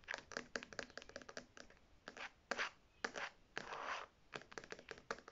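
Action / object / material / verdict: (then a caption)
scrape / faux leather zip wallet / faux leather / none. Long red nails tap and scratch the front panel and metal logo plate of a beige faux leather zip wallet held upright. Quick, dry, clicky taps come in fast bursts, broken by longer, brighter rasping scratches. The taps die out almost at once, with little low-end weight.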